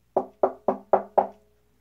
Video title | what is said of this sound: Jensen JP500 speaker review. How good are they?? | has that hollow sound and even echo